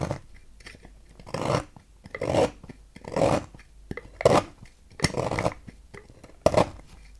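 A knife blade repeatedly cuts and scrapes a solid green oval bar of soap resting on a table, carving it into shavings. Each stroke makes a short, dry rasping scrape, separated by quiet pauses, with a few sharper cuts standing out among them.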